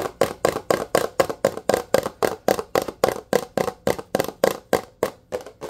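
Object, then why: Plastic dish soap bottle. Fingertips and nails tap and scratch fast on the label and body of a blue plastic Dawn dish soap bottle, which is hollow and apparently partly full. The result is a quick, steady run of short, dry, hollow clicks with a midrange tone around 535 Hz and a brief bright edge. Each tap dies away almost at once.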